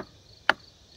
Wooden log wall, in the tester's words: when you tap on the wood you want to hear that nice dense sound